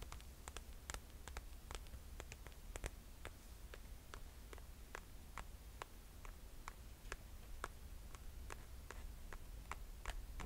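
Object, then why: Sandal with glitter straps. Long nails tap and scratch the glitter and metallic straps of a rose gold glitter sandal held in hand. Quiet, sharp clicks land in an irregular stream with a soft, bright scratchy texture over a low steady rumble.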